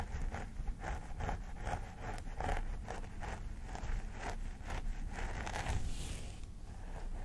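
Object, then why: Synthetic hair on a vinyl doll head. Fingernails scratch along the parting of a vinyl mannequin doll head with synthetic hair while the other hand holds the hair back. The result is a run of short, crisp scratching strokes over a low, steady rumble.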